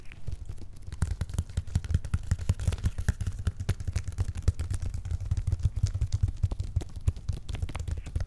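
Flat hands and fingertips rub and scratch the top of a medium, closed, hollow corrugated cardboard box with paper labels. The result is a dense, continuous run of quick scraping strokes over a deep, hollow low-end rumble that lasts the whole clip.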